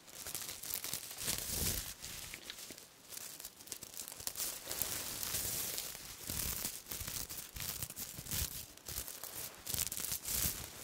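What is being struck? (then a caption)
Sequin cloth. A large piece of silver-black sequin cloth is held up and rubbed and scratched with fingers and long nails. This makes a dense, bright, crackling rustle of many quick clicks and scrapes in uneven bursts, with brief lulls between them.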